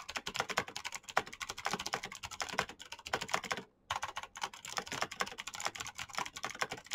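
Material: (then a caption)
Plastic. Fast typing with the fingertips of both hands on a black plastic mechanical keyboard with clicky switches produces a dense stream of sharp, bright key clicks with almost no low end. The clicks pause briefly for a moment just before the four-second mark, then resume at the same rapid pace.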